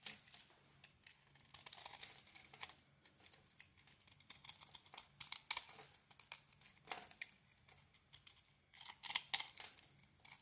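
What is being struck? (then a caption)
Bar of soap. A small metal blade shaves and carves a hand-sized, solid rectangular Nature Box bar of soap with a gold-coated surface and cream interior. Quiet, irregular bursts of crisp, bright scraping and crinkly flaking come in short strokes with brief pauses between them.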